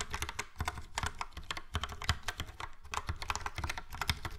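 Fingertips of both hands type steadily on a full-size plastic Logitech POP Keys mechanical keyboard with a yellow frame and round dark grey and light grey typewriter-style keycaps. About two dozen crisp, quick clacks come in an uneven rhythm, each pairing a bright click with a low thock that dies away almost instantly.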